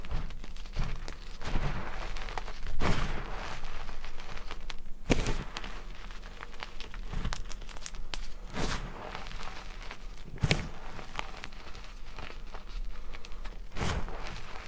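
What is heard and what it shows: Bare fingertips and palms press, squeeze and rub through crumbly blue-white crushed gym chalk (magnesium carbonate) powder and small chunks in a large white plastic bowl. A steady stream of dry, crackly crunching fills the clip, with occasional sharper, louder crunches as the chunks give way.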